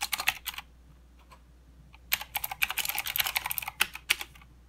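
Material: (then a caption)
Plastic. Fingertips of both hands type on a full-size mechanical keyboard with plastic keycaps and blue clicky switches. A quick run of sharp, bright clicks is followed by a near-silent pause with a couple of faint taps, then a longer, denser stretch of irregular clacking. Each click is crisp and dies away almost instantly over a faint low hum.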